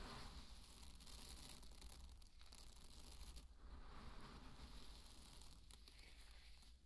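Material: Barley grain.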